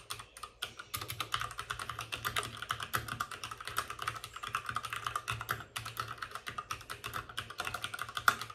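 Fingertips of both hands type fast on a white RGB-backlit mechanical keyboard with plastic keycaps and a hollow plastic case. A dense, steady stream of sharp, short, clacky key strikes with a bright click tone runs throughout, with a faint low hum underneath.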